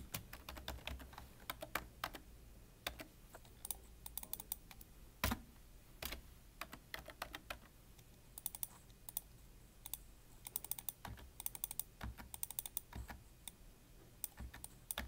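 Fingertips type on the keys of a full-size black plastic computer keyboard with a hollow body, producing rapid, uneven bursts of short, dry, bright clicks over a faint low hum. The keystrokes come in clusters with brief pauses, and one hand lifts away near the end.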